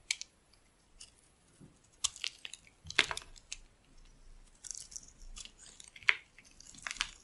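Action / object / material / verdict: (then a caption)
scrape / bar of cream soap cut with a metal blade / soap / none. A dry, solid cream bar soap with a pink outer layer is held in the palm and carved with a metal blade into white curls. Each scraping cut gives a crisp, bright, crunchy scratch, spaced irregularly with quiet gaps between strokes.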